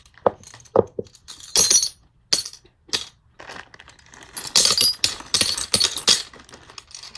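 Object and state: Eyeglass lenses clinking.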